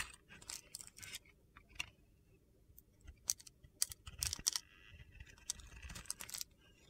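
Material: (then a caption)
Soap. A utility knife blade shaves white, crumbly flakes from a solid blue glitter-coated soap bar in repeated strokes. Each stroke gives a bright, crisp, gritty crunch that stops almost instantly, with short scraping bursts between quiet gaps.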